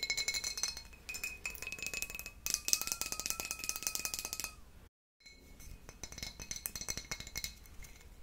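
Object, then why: Glass wine bottle with foil and paper label. Long nails tap and scratch along the neck and paper label of a full, sealed dark glass wine bottle with a foil neck. Quick, bright clinks and scratchy rasps run in a dense, high-pitched stream with very short ring, broken by a brief silence near the middle before the tapping resumes.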